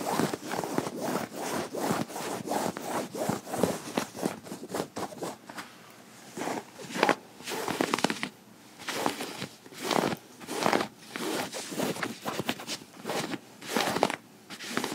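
Metal fingerpick tips scratch across a light cotton button-up shirt sleeve worn on the forearm. The result is a steady series of dry, rasping rubbing strokes, like quick sawing or zipper pulls, with a bright fabric hiss centered in the mids and brief pauses between bursts.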